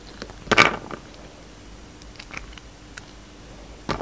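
A box-cutter blade shaves along the edges of a solid blue and white bar of soap, scraping and cutting it. One loud, bright scrape comes early, followed by scattered soft ticks and light scraping, then another crisp cut at the end. The strokes are dry and bright over a low, quiet background.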